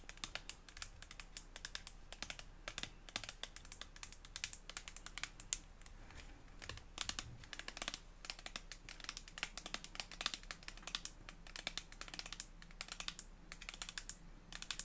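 Long acrylic nails tap quickly and steadily on a white soft plastic Prestige hair toner tube with a cap, both hollow and filled. The taps are soft, dry, bright clicks that die away almost at once, over a faint low hum.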